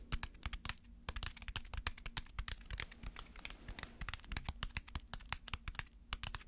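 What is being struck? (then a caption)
Small crumpled aluminium foil ball. A small, walnut-sized ball of crumpled aluminum foil held between the fingers is tapped and scratched with fingernails. It gives a rapid series of sharp, bright crinkling clicks and crackles over a quiet low hum. Each click dies away almost instantly.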